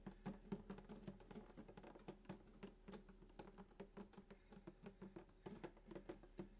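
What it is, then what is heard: Acoustic guitar body tapped. Fingertips of both hands tap the top of a full-size sunburst acoustic guitar near the bridge, its hollow wooden body with a glossy finish. Quick, soft taps in an uneven patter give short hollow thumps with a low resonant tone around 190 Hz and little brightness, each dying away fast.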